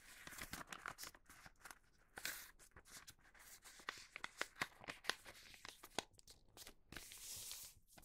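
Fingertips fold and crease the bottom edge of a large Halloween newspaper-print paper sheet resting on a cutting mat, rubbing it flat. The clip is quiet, with bright, dry paper crinkling and rustling broken by a string of sharp, short crackles and snaps. A longer airy rub of paper near the end fades out.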